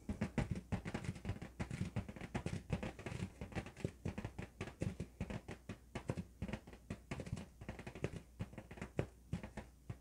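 An inflated, hollow, yellow LED-lit latex balloon, held in both hands, is rubbed and scratched with fingertips and nails. The result is a rapid, continuous run of short, dry scratches and soft taps with dull, low, thumpy body. Each one dies away almost at once, over a faint steady low hum.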